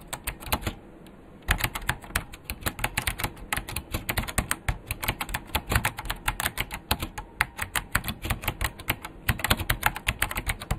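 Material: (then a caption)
Plastic. Fast two-handed fingertip typing on a vintage beige plastic full-size KPT-102 mechanical keyboard with Alps switches and a hollow case. After a brief pause near the start, a rapid, steady stream of sharp, bright clacks follows, each with a short low thud from the case.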